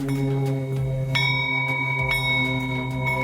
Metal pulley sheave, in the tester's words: if it sounds like a good bell tone like like a bell